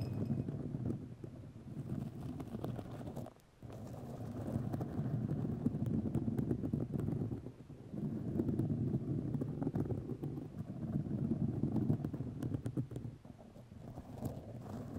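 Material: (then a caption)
Fiberglass. White fiberglass grid mesh tape wrapped around a microphone is scratched and tapped with long nails, making a dense, low, rough scratching with rapid irregular taps that fill nearly the whole clip. The sound stays dark and muffled with almost no high content, and it briefly drops out about a third of the way through before the scratching resumes and continues to the end.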